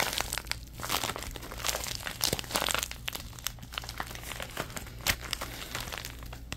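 A thin orange plastic bag is balled up and crinkled in the hands, making a dense, continuous run of bright, crackly rustles with sharper pops scattered throughout. A faint steady low hum sits underneath the whole time.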